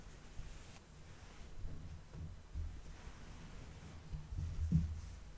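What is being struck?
Nothing is struck.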